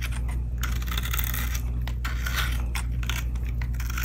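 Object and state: Dry glycerine soap bar, crunchy when cut.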